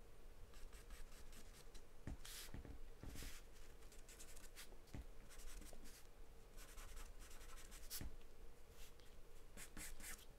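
A graphite or charcoal pencil held in the hand scribbles and scratches across a large white paper sheet taped flat to a dark surface, shading in quick strokes. The quiet, dry, scratchy strokes come in bright hissing bursts over a steady low rumble, with short sharp ticks where the tip catches.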